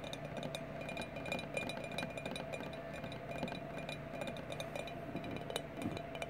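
Glass bottles are tapped in a quick, steady stream of sharp clinking taps. The short, bright ticks ring out briefly over a low background hum. A clear pitch sits near 2.4 kHz with a steady tone around 700 Hz.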